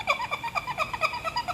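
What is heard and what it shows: A plate washed under a tap shower head without soap or a sponge is rubbed, giving eight short, bright squeaks with a tonal pitch around 2.3 kHz and high overtones. The squeaking shows the plate is clean.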